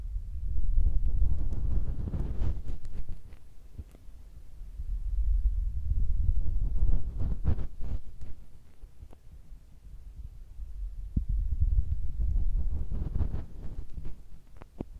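A fingertip rubs and presses over the top of a small cylindrical metal microphone capsule with a red ring, mounted on a Tascam recorder with a hollow housing. The sound is a deep, muffled rumble that swells and fades in waves, dotted with soft thumps and occasional sharp, bright clicks.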